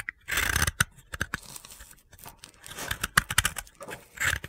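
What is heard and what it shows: A utility blade scrapes and cuts crunchy flakes from a solid, hand-held piece of pale blue dry soap. Dry, gritty scraping strokes mix with short, sharp crunching snaps that have bright upper content and almost no ring, separated by brief quiet gaps.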